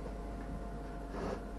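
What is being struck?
Nothing is struck.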